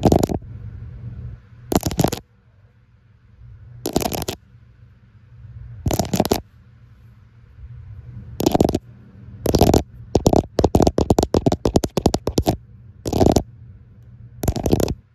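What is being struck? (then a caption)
Painted drywall wall. Long green acrylic nails tap a textured, painted beige drywall wall slowly with the nail tips and fingertips, giving short, dull, broadband clicks over a low steady hum. The taps come singly at first, then crowd into a quicker run of taps before slowing again.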